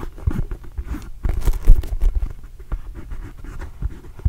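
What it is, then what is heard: Rubber basketball. A small red and blue Arizona Wildcats rubber basketball, hollow and inflated, is held in one hand while fingernails scratch over its pebbled surface. The result is a quick run of soft, dull scratching and patting strokes with a low, muffled body, uneven in loudness and with very little ring after each stroke.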